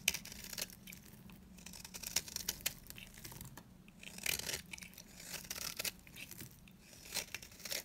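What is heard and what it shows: A utility blade cuts and scrapes long curls from a dry, solid yellow bar of soap. The result is a quiet, bright, scratchy shaving and crinkling texture, broken by sharp crisp snaps and short swells of rasping as each curl peels away.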